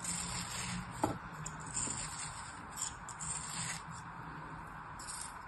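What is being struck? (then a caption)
Molded kinetic sand figure. A fingertip and nail rub and crumble the sliced layers of a solid, palm-sized beige kinetic sand figure scored with parallel grooves, lying on an open hand. A soft, continuous gritty rubbing and scraping hiss carries bright, high texture, broken by a few slightly louder crumbly crackles.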